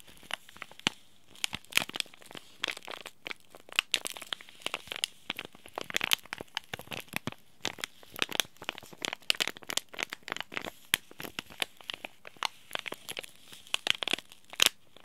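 A small, sealed, green laminated plastic/foil tea bag sachet is crinkled between the fingertips of both hands. The result is a steady run of sharp, bright crackles and crinkles that stop almost instantly, with very little low end.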